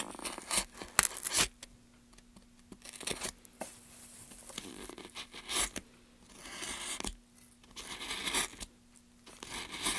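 A solid light pine softwood plank end is carved as gloved hands hold it steady and scrape and cut the wood with a small blade. Bright, dry scraping and shaving bursts come in uneven strokes with short quiet gaps between them, and a faint steady hum runs underneath.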